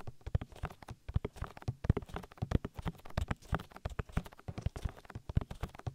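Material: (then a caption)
Silicone. Fingertips tap rapidly on the oily silicone ear of a binaural microphone, making a quick, irregular run of dull, knock-like thuds. The hits are soft, deep and muffled, with almost no ring and very little brightness.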